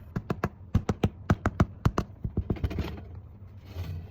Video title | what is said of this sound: First Failed video at making Sourdough. | I wouldn't say it sounds hollow. Sounds like a solid wooden door to me.